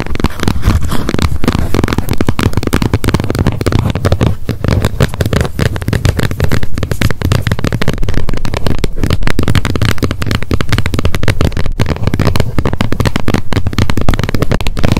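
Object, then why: Plastic snap lid of a wet wipes pack. Long nails tap rapidly on the plastic lid of a handheld wet wipes pack. The result is a dense, continuous stream of quick, short clicks with a heavy, dull low thump and very little bright top end.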